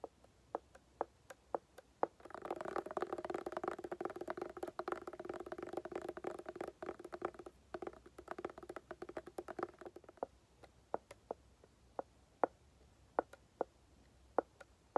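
Long painted nails tap and scratch a closed, hollow, hand-sized hard-shell glasses case covered in woven tan fabric. Sharp, isolated clicks open the clip, then give way to several seconds of dense, scratchy rustling with a hollow midrange resonance. Scattered, crisp taps return to close it.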